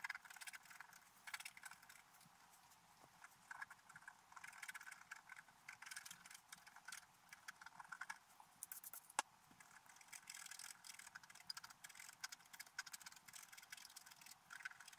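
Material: Coated paper.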